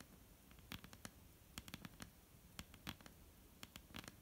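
Long almond-shaped painted nails tap on a flat, solid, dark-brown wooden tabletop. About fifteen quiet, sharp, bright clicks fall in an irregular, loose pattern, each dying away almost instantly with no ring.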